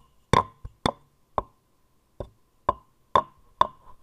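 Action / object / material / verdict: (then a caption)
knock / turned wooden vase / wood / none. A light, turned wooden vase-shaped vessel with grooved rings, likely hollow, is tapped with long nails and knocked with a small wooden mallet. Eight short, dry, hollow knocks come at uneven intervals, each with a brief woody ring near 1 kHz that dies away almost at once.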